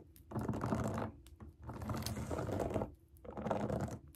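Long acrylic nails scratch and tap the bubbles of a large round rainbow silicone pop it fidget toy resting on a table. Three bursts of dense, rapid, muffled scratching and tapping are separated by brief quieter pauses. The sound stays mostly low and soft, with little brightness.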